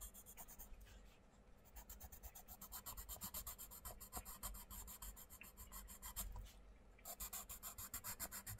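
A wooden coloured pencil scratches and rubs over the paper page of an open paperback colouring book lying flat, while the other hand steadies the book. Rapid, rhythmic colouring strokes give a bright, papery scratching over a low rumble. The strokes soften briefly near the start and again near the end before resuming.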